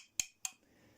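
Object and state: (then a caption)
Acetone-cured part, hardening. Two sharp, bright taps on a drying acetone-cured part, each a high, crisp click with a brief ring. The ringing tone shows the part is getting hard, though it is to be left another day or two before installing.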